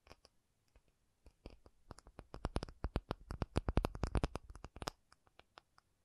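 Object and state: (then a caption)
Acrylic surface tapped. An acrylic object is tapped with quick, short, dry taps in an irregular rhythm, with no talking. The taps start sparse and quiet, build into a dense, louder flurry in the middle, then thin out again toward the end.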